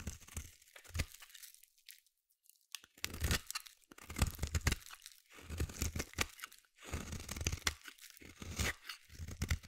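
A solid white bar of soap, held in the hand, is shaved with a metal blade in repeated scraping strokes. Each stroke gives a dry, crunchy, tearing scrape with a low thud underneath and bright crackle on top, with a short quiet pause early on and brief gaps between the later bursts.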